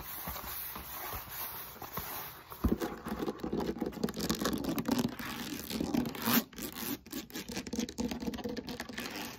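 Long nails scratch and tap the beaded surface of a solid, textured foam roller made of molded polyethylene foam, held at an angle. After a soft, quiet start, a sharp tap at about 2.7 seconds begins a dense run of fast, gritty scratching and light tapping. The scratching has a low-mid body and hissy bright edges, with brief dips between bursts.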